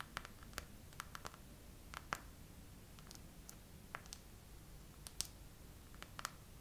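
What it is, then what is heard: Clear plastic phone case with raised hearts. A hand with long nails slowly taps and scratches over the rows of raised bubble hearts on a clear plastic phone case, which is on a phone in a tripod holder. Sparse, quiet, dry clicks with bright edges stop instantly with no ring, spaced irregularly over a faint, steady low background hiss.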